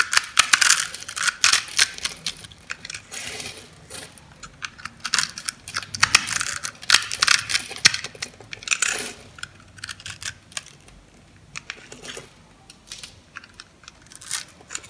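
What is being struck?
Bar of soap.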